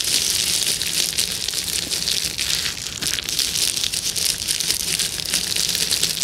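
A clear plastic bubble wrap sheet with hollow air bubbles is scratched and rubbed with the long nails of both hands. The result is a steady, dense, bright crackling and rustling hiss, mostly high-pitched, with a faint low hum underneath. It stays at an even level with no distinct separate hits.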